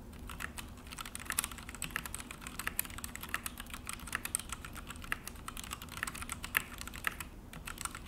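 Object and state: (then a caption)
Plastic mechanical keyboard. Both hands type with their fingertips on an Akko full-size mechanical keyboard with an orange plastic case and black plastic HyperX keycaps, resting on a desk. A fast, steady run of sharp, bright plastic key clicks and clacks comes through with very short decay. A low, steady hum sits underneath.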